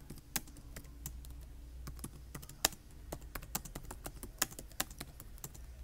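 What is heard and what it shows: Fingertips with short nails type rapidly on the solid keys of a black plastic laptop keyboard that has USB and VGA ports on its side. The result is an irregular run of short, sharp clicky taps with bright, crisp attacks, heard over a steady low hum.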